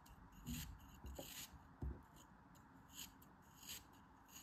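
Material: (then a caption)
Kinetic sand. A metal utility knife scrapes and shaves a small, solid, beige molded kinetic sand chunk held by fingers with long red nails. Soft, gritty rasping strokes come in separate bursts, each with a bright, hissy edge over a dull low thud.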